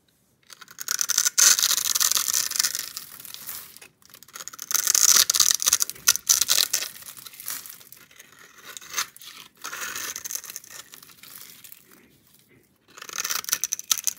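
A utility knife blade scrapes and cuts across an oval, solid orange bar of soap held in one hand, shaving small cubes off its embossed, scored-grid surface. Bursts of dry, bright scraping and crisp shaving come in loud stretches separated by quieter, scratchy passages, with almost no low end.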